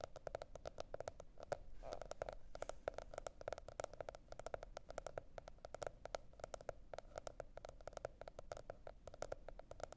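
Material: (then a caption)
Cardboard. Long nails tap and scratch the printed cardboard cover of a spiral-bound planner, producing a rapid, continuous stream of quiet, dry clicks. The taps carry a faint scratchy texture and a light hollow tone around 590 Hz.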